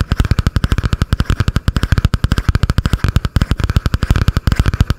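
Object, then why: Spiral notebook with cardboard cover. Long painted nails tap and scratch quickly on a butterfly-print spiral notebook with a cardboard cover, held above the microphone. Forty-three short, close-miked taps come in a rapid, steady stream, each a dull, deep thump that dies almost instantly, with a faint scratchy rasp between them.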